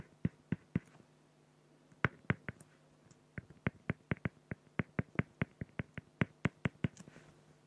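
A felt-tip pen hatches with fast strokes across the surface of a flat, clear acrylic plexiglass sheet, producing about 25 short, dry scratching ticks with no ring. Three come first, then a pause, a quick cluster, and a steady run of strokes. A faint low hum sits underneath throughout.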